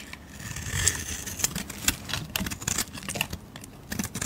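A blade scrapes a solid peach bar of soap at the start, then long red nails handle the same bar. The result is a string of quiet, crisp, bright scratches and clicks with very short ring over a soft low rumble.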